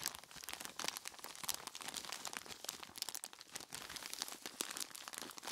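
A large clear plastic bag full of ice cubes is squeezed and scratched by hands in skeleton-claw gloves. Dense, bright crinkling and crunching runs throughout, with quick, sharp crackles and almost no low end.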